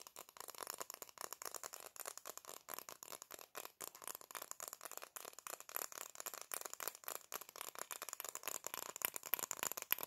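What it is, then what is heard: Plastic sunglasses. Black plastic-framed sunglasses held in both hands are tapped and scratched with long nails in a fast stream of dense, crisp clicks and scrapes, with some rattling of the hinges. The sound is bright and thin, with no low end, and each tap stops almost instantly.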